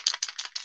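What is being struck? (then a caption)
Metal spray paint can with mixing ball. A metal spray paint can is shaken before painting models, and its mixing ball rattles inside. Four quick, bright, high clacks are heard, each dying away almost at once, with no low-end body.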